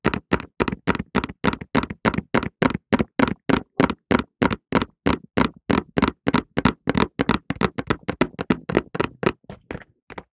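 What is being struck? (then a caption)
Cardboard tissue box. A cardboard tissue box, held in both hands in front of a microphone, is tapped with fingertips on its top and sides to make a calming sound. About 45 quick, dry, hollow taps follow each other at a fairly steady rhythm, each dying away almost at once. The taps grow softer and more scattered toward the end.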